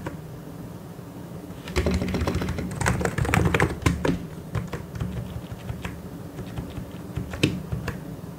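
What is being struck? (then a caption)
Plastic mechanical keyboard. Fingertips type on a white and grey plastic mechanical keyboard. After a quiet start with a low hum, a quick, irregular run of clacking keystrokes begins, densest in the middle and then thinning to scattered taps. A sharper, brighter click stands out near the end.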